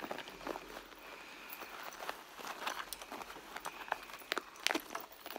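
Long nails scratch the red leather of a hollow, soft handbag near its seams. The result is a quiet run of dry, bright scratches and light ticks with almost no low end, sharpening into a few louder scrapes toward the end.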